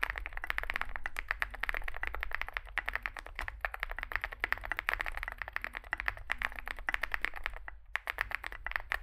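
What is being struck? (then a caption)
Mechanical keyboard with plastic keycaps. Fingertips type continuously on a small 65% Zoom65 mechanical keyboard with a dark case and white and grey SA plastic keycaps. Rapid, short plastic clacks overlap in an uneven stream, with bright clicky tops, a few slightly deeper thocks, and a steady low hum underneath.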